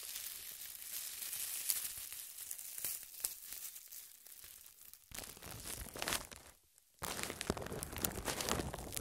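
A large, thin, clear cling-wrap-style plastic film is draped loosely and hollow over a small microphone on a tripod, and long red-painted nails and fingertips scratch, crinkle and rub it against the covered mic. The result is a dense, bright crackling and crinkling with tearing-like textures. It swells louder after a brief quieter stretch and a short near-silent gap before resuming.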